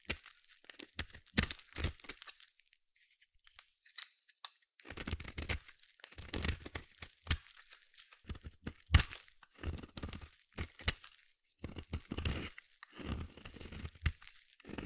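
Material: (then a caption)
Soap. A small metal blade carves chunks and shavings off the end of a palm-sized solid red bar of soap. Crisp, bright scraping crunches come in short bursts separated by brief pauses, each cut carrying a soft low thump beneath a dry crackle that stops dead.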